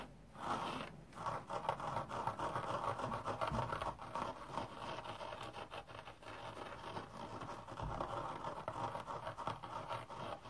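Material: Synthetic fibre.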